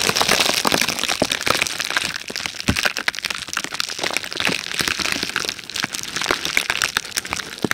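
A sheet of red plastic bubble wrap is held close to the mic, squeezed and scratched with long red-painted nails. Dense, bright crackling and crinkling comes in rapid sharp snaps over a steady papery hiss, slightly quieter in the middle before picking up again.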